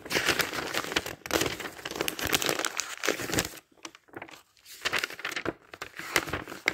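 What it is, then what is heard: Paper dictionary pages being flipped. A thick paper dictionary is held open while its thin pages are flipped quickly by hand. The pages give off dense, bright crinkling and rustling with crisp, fast crackles, dropping to a quieter lull partway through before the flipping picks up again.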